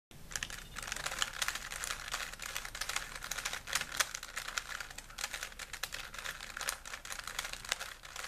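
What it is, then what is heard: Plastic puzzle cube being twisted. A small solid plastic 3x3 Rubik's cube with colored stickers is held in both hands while fingertips twist its layers. The result is a steady stream of rapid, bright plastic clicks and rattles that lasts throughout.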